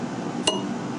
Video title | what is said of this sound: Lathe Tool Grinding Part 2 | If your wheel rings, you're fine. If you hear a dull thud, your wheel has a crack in it.